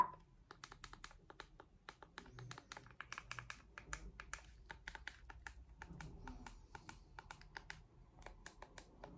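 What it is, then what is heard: Plastic remote control tapped with nails. Long acrylic nails tap and click rapidly on the rubber buttons and hollow casing of a small handheld white plastic remote control. The result is a steady stream of dozens of quiet, sharp, bright clicks that stop almost instantly, over a faint low rumble.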